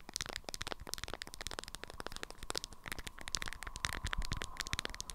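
Long acrylic nails tap and scratch a small rectangular item wrapped in a lemon-print beeswax-coated fabric cloth, held in both hands. A rapid, dense run of dry, crinkly taps and scrapes sounds with crisp, bright clicks. A faint steady tone near 1 kHz runs underneath.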